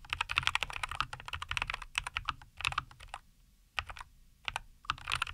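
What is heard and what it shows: Both hands type continuously with their fingertips on a NuPhy Air75 V2, a compact 75% mechanical keyboard with linear Cowberry switches, a white case and green and white plastic keycaps, resting on a wooden desk. Rapid, bright, crisp plastic clacks come in dense bursts, broken by brief quieter pauses before the typing picks up again.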